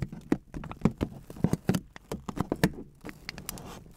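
Fingertips with long dark-painted nails tap and scratch crumpled aluminum foil wrapped around a microphone. The result is a rapid, irregular patter of short, dry crinkling taps with a low, thumpy body and brief bright crackles. It finishes in a softer, steadier scratchy rustle.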